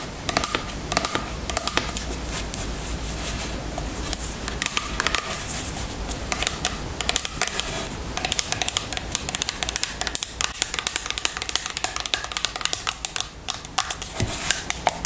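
Long nails tap quickly and steadily on the label and body of a filled amber plastic oil bottle held in the hands. The result is a continuous run of sharp, bright, clicky taps with very little ring, lasting about 15 seconds.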